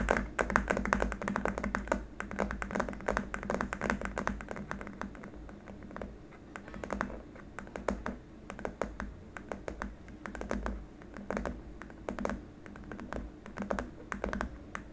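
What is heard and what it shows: Fingertips and short nails tap rapidly on a long, flat, white hard-plastic keyboard wrist rest, producing a dense stream of quick, dry clicks that sound much like typing. The taps are short with almost no ring, sitting over a steady low hum, and they thin out slightly in the middle before picking up again.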